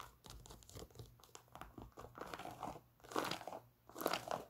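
Long nails scratch the knit upper and foam Boost sole of an empty white knit textile Adidas NMD sneaker. The result is dry, crinkly scratching and crackling in uneven bursts, with two louder scraping passes near the end.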